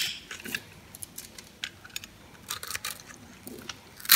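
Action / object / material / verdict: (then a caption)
scrape / bar soap cut with a metal blade / soap / none. A metal blade scrapes and cuts crunchy grid cubes into a dry, solid pink soap bar with a painted dark outer layer, held in the hand. A series of short, crisp, bright crunches and scratches sounds over a quiet background, each dying away almost at once. The loudest crunch comes at the very end.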